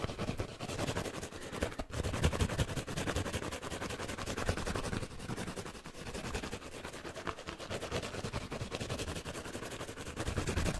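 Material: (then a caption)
Foam. A hand-sized, rectangular yellow foam kitchen sponge with a green abrasive scouring layer, soft, porous and dry-looking, is held in both hands close to the face and scratched and rubbed fast and aggressively with fingertips and nails. The result is a dense, continuous crackling and rasping texture of rapid, short scratches with a heavy low rumble, running for about 11 seconds and easing slightly in the middle before picking up again.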